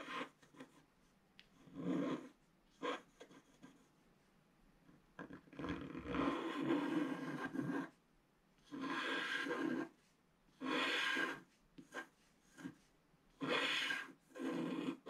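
A wooden stylus scratches the black wax coating of a flat scratch art page while the other hand rests on the page. It makes dry, raspy scratching strokes, some short and quick and others long and sustained, separated by near-silent pauses. The sound is mostly midrange with a bright hiss on the longer strokes.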